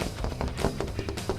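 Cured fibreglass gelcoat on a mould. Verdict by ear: Bonded.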